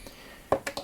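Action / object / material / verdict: tap / plastic power strip switch / plastic / solid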